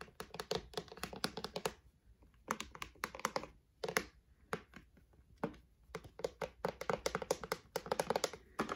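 Fingertips and short painted nails tap and scratch along the fronts of a grey plastic drawer unit with hollow drawers and metal knobs, set on a white frame. Rapid bursts of light, clicky taps with quick decay come in flurries separated by brief pauses.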